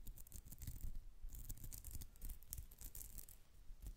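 Long nails scratch across the mesh texture of a soft, flat, white polyester mesh pouch with a cat face on it. The result is a quiet, continuous run of quick, dry scratching strokes with bright, high rasps over a soft low rumble.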